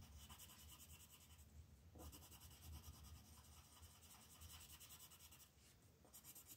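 A red colored pencil shades letters on a flat paper coloring book page with quick rubbing strokes. Soft, steady scratching comes in rapid back-and-forth pulses with a bright papery hiss over a faint low rumble, pausing briefly before the strokes resume.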